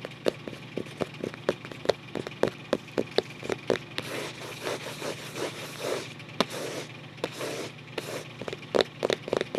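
Fingertips scratch and trace the printed, paper-covered cardboard front cover of a closed photo album resting tilted on a lap. About thirty short, dry clicks and taps ring out at first, then give way to stretches of soft, gritty scratching in the middle before the sharp taps return. The sound is close and crisp with a mid-pitched body and little low end.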